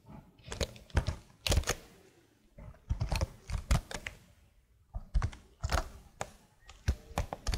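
Long blue nails tap and scratch the keycaps of a plastic laptop keyboard held upright close to the mic. Irregular clusters of sharp, clicky taps with a low thumpy body are heard, mixed with faint scratchy rustles between bursts. Each click dies away almost instantly.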